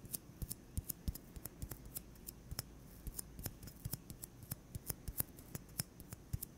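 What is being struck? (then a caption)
Styrofoam ball. Fingertips tap a solid white styrofoam ball, about 8 cm across and held in the other hand, in a quick, irregular run of roughly thirty soft taps over several seconds. Each tap is a short, dry, low thud with a bright clicky edge that dies away almost instantly. The taps stay quiet throughout.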